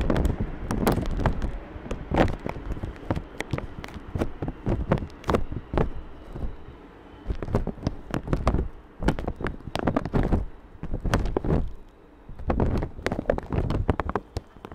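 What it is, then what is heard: Plastic bag over microphone. A thin, clear, wet plastic bag covers a black microphone while fingertips tap and rub the bag and crinkle its top edge. Dense, irregular crackling taps land as heavy low thumps with sharp, bright snaps on top, broken by short quieter stretches of soft rustling.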